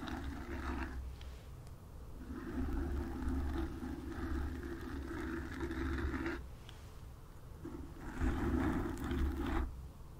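Long nails and fingertips of both hands scratch the surface of a black foam windscreen on a desk microphone. The result is a dense, low, rumbling scratching with a grainy midrange texture, coming in sustained bursts that briefly drop away before resuming and swelling louder near the end.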